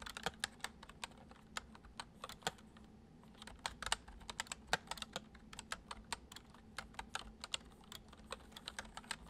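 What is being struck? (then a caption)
Plastic computer keyboard. Fingertips type fast on the letter keys of a white plastic computer keyboard. A rapid, uneven stream of short, bright clicks plays over a faint low hum, and each click dies away almost instantly.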